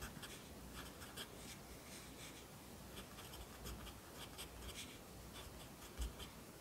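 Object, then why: Pencil graphite on notebook paper. A yellow wooden pencil held in the fingers writes across an open lined paper notebook lying flat on a desk, its graphite scratching on the paper. Soft, steady scratching carries bright bursts at each stroke over a low, constant hum, with one slightly louder stroke near the end.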